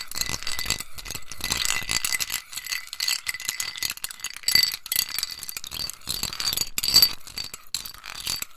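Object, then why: Ice cubes in a ceramic bowl stirred with a metal spoon. A metal spoon stirs ice cubes in a small white scalloped ceramic bowl held in the hand, clinking the ice against the ceramic. The result is a dense, bright rattling of many quick clinks with short rings and a steady high tone, as a glass bowl of liquid sits nearby untouched.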